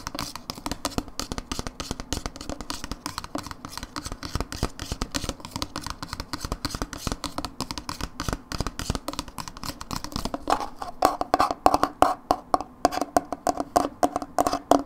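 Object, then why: Plastic dip tub. A hollow Philadelphia dips plastic tub with a blue lid is tapped and scratched with long nails on its side label. Rapid, dense clicky taps and scratching run throughout, and from about 10 seconds the taps turn louder and more hollow, with a short tonal ring near 750 Hz.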